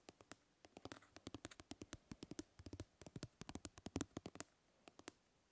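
Fingernails scratch and pluck the grid mesh of a plastic fly swatter held by its handle. The result is a quiet, irregular run of short, dry plastic clicks and ticks that reach into the bright highs, some carrying a faint tone near 270 Hz. Each one dies away almost instantly, with brief pauses between clusters.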